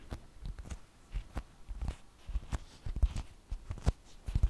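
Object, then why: Flour tortilla. A large, thin flour tortilla held in both hands is tapped with long fingernails and fingertips. About fifteen soft, dull, low taps and light rustles come in an uneven run, each dying away at once with no ring.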